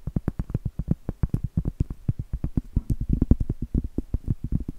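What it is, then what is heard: Cork trivet, tapped with nails. Long acrylic nails tap and scratch the surface and edge of a large, thin, flat, solid round cork trivet. About three dozen quick, dull taps come in a rapid, uneven stream, each dying away almost instantly, with soft low thuds and almost no high or bright content.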